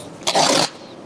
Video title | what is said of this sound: Il SEGRETO per un Impasto Pane Digeribile è la FARINA! 95% Biga e 80% Idratazione del Maestro Paolo | ça veut dire que c'est cuit